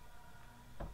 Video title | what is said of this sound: Bank Repossessed 50% off SALE sedan pick up van suv discount PS Bank & Security Bank Ph 100 + cars | wala lang laman yung spare tire. Inaalog ko. Walang laman.